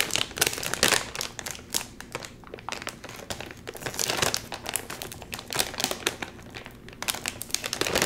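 Fingers crinkle and tug at the sealed top of a full Doritos chip bag made of metallized plastic film. A continuous run of dense, bright crinkling and crackling swells and eases, with sharper, louder bursts as the film is squeezed and pulled, and almost no low end.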